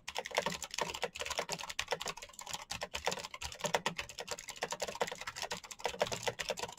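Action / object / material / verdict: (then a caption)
tap / plastic mechanical keyboard / plastic / none. Both hands type rapidly with fingertips on a black plastic mechanical keyboard with clicky switches and hollow plastic keycaps. It makes a continuous stream of sharp, bright clicks and clacks. Each keystroke is dry and short with very little low end, and it stops almost instantly.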